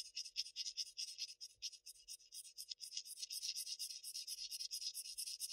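A sharpened wooden graphite pencil scratches short shading strokes across a flat Bristol paper sheet, heard close up. The strokes come as a rapid, steady run of brief, dry rasps, bright and hissy with almost no low end. Each stroke stops at once with no ring.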